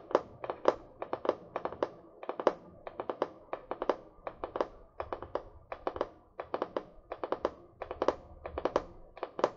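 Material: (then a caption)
Card. A small spiral-bound notebook with a paper card cover, held upright in one hand, is tapped with fingernails in quick rhythmic bursts. About 44 short, dry clicks ring around 500 Hz with a bright edge, each dying away almost at once.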